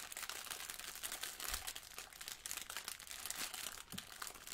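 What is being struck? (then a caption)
Sponge in a thin plastic wrapper. Yellow rubber-gloved fingertips press and scratch a blue sponge in a clear plastic wrapper, with a plastic apron nearby. The result is a steady, quiet run of bright crinkling and scratchy rustling, with dense, close-packed crackles and very little low end.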